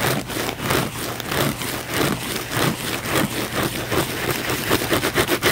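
A thick, layered blue foam sponge held in the palm is scratched fast and aggressively with the fingernails. The result is a continuous run of dry, rasping scrapes that swell and fade in quick strokes, with bright, hissy texture over a soft low rumble.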